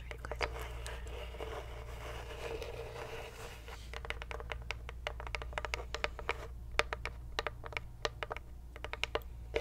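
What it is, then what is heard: Engraved wooden box. A small, apparently hollow light-wood box with an engraved lid and a ribbon-bar decoration is held in both hands and tapped and scratched on the lid and sides with long white acrylic nails. Soft scratching fills the first few seconds, then many quick, dry, bright taps follow in an uneven rhythm over a low steady hum.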